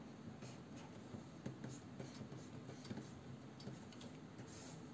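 A hand drags and taps a plastic-nibbed stylus across the solid, matte anti-glare glass surface of a large Wacom Cintiq 22 pen display while drawing. Quiet, fine scratching strokes run throughout, with a low, steady hum beneath. Five soft taps stand out.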